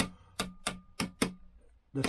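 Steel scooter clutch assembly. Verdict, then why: Seated. A hammer taps the steel clutch and drive sprocket assembly five times while it is fitted to a 1964 Lambretta Li125, to check it has settled. Each sharp metallic tap rings with a short low hum and a faint higher tone, the spring letting the hammer bounce back up. The assembly sounds properly seated.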